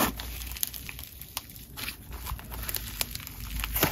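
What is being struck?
Crunchy textured slime.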